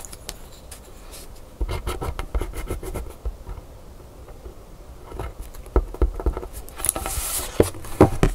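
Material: Coated paper.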